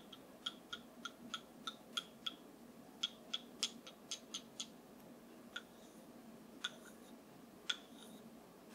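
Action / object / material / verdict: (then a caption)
tap / wooden massage tool / wood / none. A wooden massage tool is tapped 19 times in an uneven rhythm, each tap a sharp, dry click with a bright ring near 3.4 kHz that dies almost instantly. The taps come in quick runs separated by short pauses over a low, quiet background hiss.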